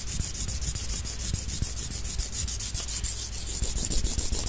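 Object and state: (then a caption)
Wooden sticks rubbed together. Two thin, solid wooden sticks, like chopsticks, are rubbed and scraped against each other by hand. The result is a continuous dry, bright scratching hiss with fast, uneven strokes, about three or four per second, over a low rumble.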